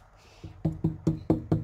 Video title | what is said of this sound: Inspection sous toit de poutres de soutien | heureusement, il y a de l'épaisseur. Ça sonne plutôt pas mal